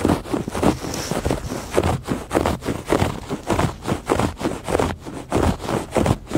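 Fingertips and nails scratch across the weave of a woven fabric rug in repeated strokes at a loose, unsteady rhythm, about eleven passes in all. Each stroke is a dry, raspy rustle with its weight in the low and middle range, fading quickly between passes.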